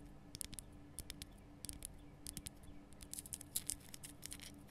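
Long nails scratch and tap the rough surface of a large, glowing pink Himalayan rock salt lamp, a solid salt block. Many short, crisp, high-pitched clicks and scrapes sound in quick, uneven clusters over a faint low hum.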